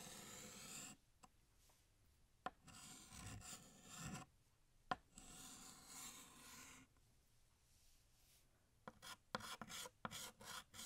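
A blue chalk stick held in the fingers draws a second balloon on a large, flat, solid black chalkboard with rubbing, scraping strokes. Gritty, bright rasping strokes come in bursts separated by quiet pauses, with a few sharp taps as the chalk meets the board. Near the end the strokes turn quicker and choppier.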